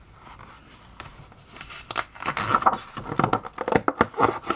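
Fingertips turn the pages of an open glossy paper magazine back and forth on a table. Quiet, soft rustling in the first two seconds builds into louder, crisp crinkling page flips with short, sharp papery snaps. The sound is concentrated in the mid-range with little low rumble.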